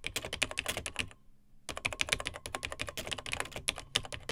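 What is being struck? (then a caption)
Plastic laptop keyboard. Fingertips of both hands type on the dark plastic keys of a beige plastic vintage Tandy TRS-80 Model 100 portable laptop. Quick, bright, clicky keystrokes patter in an uneven rhythm with short, dry taps. There is a brief pause of about half a second before the typing resumes.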